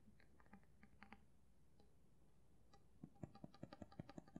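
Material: Steel.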